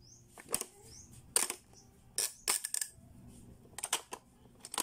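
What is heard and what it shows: Fingertips press the round button and dial of a blue, hollow, hard-plastic Playskool pop-up learning toy, and its plastic lids clack shut. Sharp, bright plastic clicks and clacks come in scattered bursts, each dying away almost instantly, with quiet handling noise between them.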